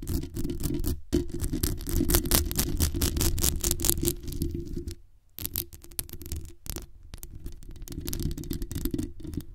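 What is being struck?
Metal mesh microphone grille.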